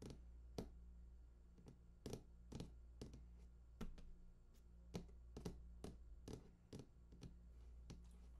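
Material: Cardboard.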